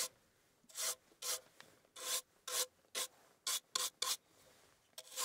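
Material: Wood.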